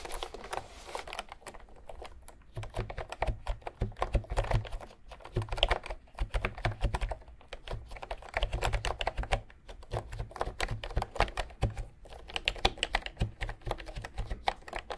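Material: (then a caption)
Plastic. A full-size cream plastic retro keyboard with round pink, peach and white typewriter-style keys is held upright between two microphones while fingertips tap and type on the keys. A steady stream of quick, dry plastic key clicks with short bursts and brief pauses carries a deep low thud under each press and little ring.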